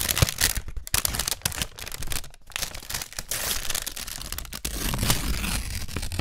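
Long, thin, light white paper receipts are torn into strips by hand, with pieces held in both hands. Quick, dry ripping and crinkling sounds come in a dense series of short bursts with brief pauses between them.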